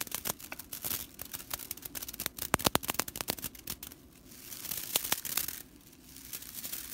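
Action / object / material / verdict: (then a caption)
scrape / straw whisk broom bristles / straw / none. Long fingernails on both hands scratch and rake a fan of dry straw whisk-broom bristles lying on a table. The result is a dense, bright, crackling rattle of sharp dry clicks and snaps, easing at times into a softer, continuous scratchy rustle.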